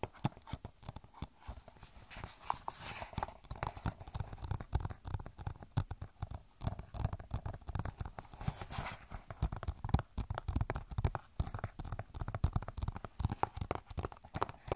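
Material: Plastic.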